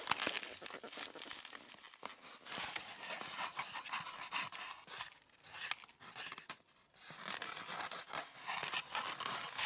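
Long red nails scratch and tap the hollow domed cups of an empty white polystyrene foam egg tray (a styrofoam egg carton). The result is a dense run of bright, dry scratching, squeaky crinkles and quick light taps with almost no low end, briefly quieting near the seven-second mark before resuming.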